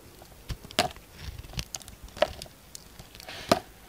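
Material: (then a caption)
Soap. A yellow utility knife blade carves and scrapes chunky shavings from a solid orange bar of soap with a blue outer layer, held in one hand, while soap chips pile up on a wooden table. Crisp, dry cutting snaps and short scraping strokes land at an irregular pace, with a few sharper bright clicks standing out. Each one dies away almost instantly.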